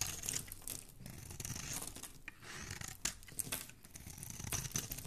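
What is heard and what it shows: A flat metal blade scrapes and shaves the surface of a solid, hand-sized, light blue bar of soap held in one hand, curling off flakes. Dense, bright crackling and crisp scraping run continuously with quick rough bursts throughout.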